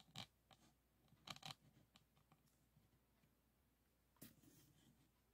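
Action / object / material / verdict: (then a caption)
scrape / resin-bead diamond painting board scraped with a plastic pen / resin / none. A pink plastic pen tool is rubbed and scraped over the faceted resin beads of a flat diamond painting board lying on a table. Short, bright, dry scratchy bursts with crisp high clicks come in uneven bunches, with quieter rustling scrapes between them.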